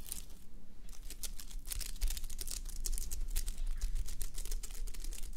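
Fingertips and nails rub and scratch the plastic sequins of a flip-sequin fabric sleep mask resting on a mannequin head. Dense, bright, crinkly clicks and scratches patter continuously over a low, steady rumble.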